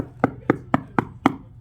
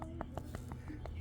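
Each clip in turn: First: hollow, delaminated pool plaster. Second: solid, well-bonded pool plaster.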